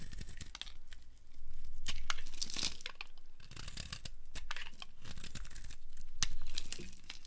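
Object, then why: Bar of soap cut with a flat blade. A flat blade carves thin curls off a solid yellow dry soap bar held in hand over a wooden surface. The clip is a quick, uneven series of crisp, dry scraping and crumbly tearing strokes, each with a sharp bright edge and no ring. The strokes swell and fade in loudness throughout.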